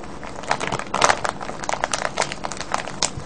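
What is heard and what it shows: A small, full, clear crinkly plastic bag of colourful wrapped sweets, with a red wrapper on top, lies on a wooden table beside a pale paper tag. Both hands cup it and squeeze and rub it with the fingertips. This makes a steady run of dry, bright crinkles and crackles, with louder rustling bursts rising above a soft hiss.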